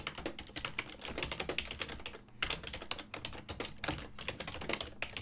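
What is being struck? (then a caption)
Plastic computer keyboard. Fingertips type on a full-size black and silver plastic ergonomic desktop keyboard with hollow key switches, producing a rapid, uneven run of bright, dry plastic clicks and clacks. Each keystroke is short and snappy with almost no ring, with a brief lull in the middle and a faint steady low hum underneath.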